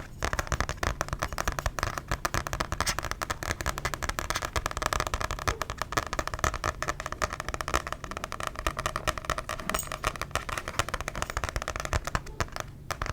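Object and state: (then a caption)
Book tapped. A paper book is tapped rapidly with its surface and edges, producing a dense, continuous stream of short, dry taps. Each tap has a soft low thump and a crisp, bright click that dies away almost instantly. The tapping keeps an even pace and level for the whole clip.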